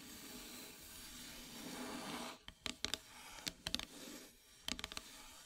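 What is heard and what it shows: Long metallic nails scratch slowly across a flat, solid, dark painted wooden heart-shaped plaque, giving a steady bright, hissy scrape. A few sharp, quick taps follow in short clusters, each dying away almost instantly with no ring.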